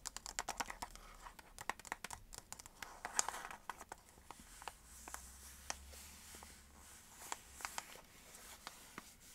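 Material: Cardboard.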